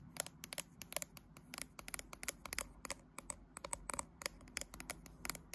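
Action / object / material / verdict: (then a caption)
tap / smartphone with glass back and metal frame / glass, metal / none. Long light-blue fingernails on one hand scratch and tap the right edge and glass back of a graphite smartphone with a metal frame, held in a tripod clamp. A quiet, rapid, uneven series of sharp, bright clicks and scratchy brushing strokes is heard, each tap dying away almost instantly with no ring.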